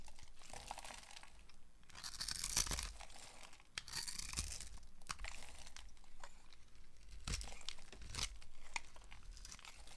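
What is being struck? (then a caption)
Bar of soap cut with a blade. A utility knife blade carves and scrapes a hand-sized, solid, peach-colored bar of dry soap, held in one hand with long painted nails, cutting it into cubes and flakes that crumble off. Crisp, bright scraping and crunching bursts alternate with quieter stretches, with soft low thuds under the louder cuts. The soap breaks into dry, crumbly pieces.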